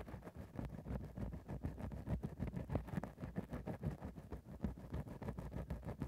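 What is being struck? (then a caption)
Synthetic fur microphone windscreen. A grey synthetic faux-fur microphone windscreen is rapidly scratched and poked with a thin bamboo ear-pick. The dense, irregular scratches and pokes come through as a muffled, low, thudding rustle with almost no high content.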